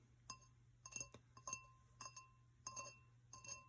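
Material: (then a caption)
Glass. A vintage Burger King Star Wars drinking glass is tapped in a series of light, uneven taps. Each tap gives a bright, high glassy clink that fades almost at once, with quiet gaps between the taps.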